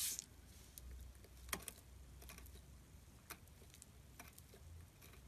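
A metal tool carves curled shavings from the edge of a solid gray glittery soap bar held flat under the fingers. Quiet, scattered scraping clicks and soft crackles, with a few sharper ones, rise bright over a low, steady rumble.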